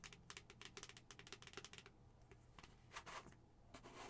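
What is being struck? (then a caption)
Plastic skull-shaped cup with lid. Long acrylic nails tap rapidly on the face and pink lid of a hollow white plastic skull-shaped cup, making quick, bright clicking taps. A dense run of taps is followed by a few scattered clicks and scraping sounds, with a low steady hum underneath.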